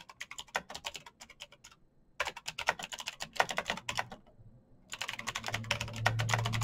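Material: Plastic.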